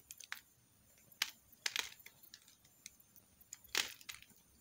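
A metal knife slices and shaves strips off a solid green soap bar held in the hand. Short, crisp, bright scraping cuts come in irregular bursts, with a longer rasping shave near the end, over a quiet background.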